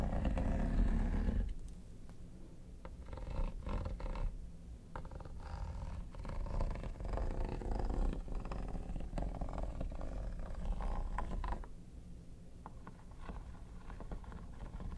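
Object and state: Plastic hard-shell vanity case being scratched.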